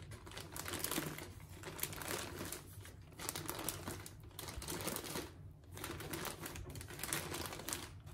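Fingertips and long nails press, scratch and crinkle a clear plastic film bag holding several soft, solid orange foam grout sponges resting on a plate. The result is a steady, dense stream of bright crinkling and scratchy rustles in swelling bursts with short pauses, over a faint low hum.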